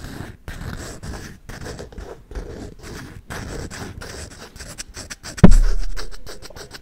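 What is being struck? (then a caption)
Wooden folding chess board. Fingernails scratch along the checkered face and edges of a hollow wooden folding chess board held sideways, making repeated dry, low-heavy scraping bursts. Near the end a single sharp knock cuts through, followed by a low, hollow resonance that slowly fades.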